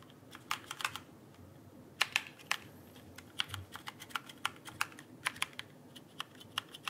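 A backlit plastic mechanical keyboard is held upright in one hand while the fingertips of the other hand tap its plastic keycaps. It produces a rapid, irregular series of crisp, bright clicks that die away almost instantly over a quiet background.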